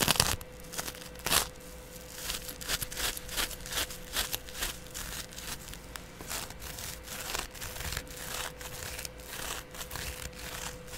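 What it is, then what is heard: Cellulose sponge being scratched. A flat, palm-sized, porous yellow cellulose sponge, held by a hand with long dark nails, is scratched across its surface with a double edge razor blade. Quick, dry, bright scratching and crackling strokes repeat throughout, over a faint steady hum.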